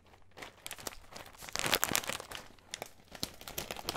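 Fingertips squeeze and crinkle a clear plastic bag of snack mix, filled with nuts or crackers and bearing a green label. Dense, bright crinkling comes in quick irregular bursts, loudest in a busy stretch near the middle, then scattered sharp crackles. The sound is mostly high and crisp, with little low end.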